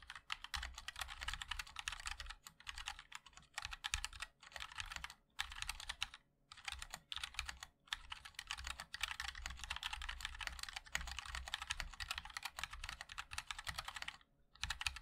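A MOD-L 60% mechanical keyboard with a black aluminium case, white and black ABS plastic keycaps and linear switches is typed on continuously with the fingertips of both hands. It makes a dense stream of short, bright clicks with a few brief pauses, over a faint steady low hum.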